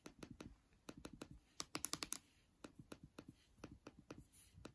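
Long dark nails tap the aluminium palm rest and trackpad on the lower deck of a MacBook Air. About nineteen short, sharp, dry clicks come in quick uneven bursts, with a brighter, louder cluster near the two-second mark.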